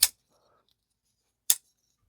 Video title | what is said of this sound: IT'S So Difficult To Put This One Down : URBAN EDC CHIMARRA | it sounds solid. It sounds, like, doesn't sound weak, doesn't sound like vibraty. It sounds really strong and very, very solid.